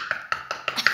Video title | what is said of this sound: Collection gomille deco 3D petite sirène | C'est bien du bois. Écoutez, on dirait que je toque à la porte.